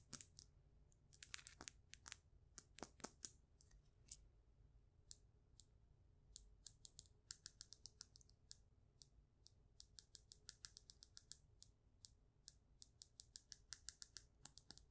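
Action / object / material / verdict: tap / polished faceted stone / stone / none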